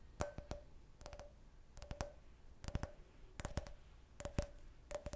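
Fingernails tap quickly on a clear, hollow, empty can-shaped beer drinking glass with a printed logo. The taps come in seven short bursts of two to four clicks each, and every burst carries a brief glassy ring around 600 Hz with a bright sheen. Each burst fades almost at once into a quiet, low background.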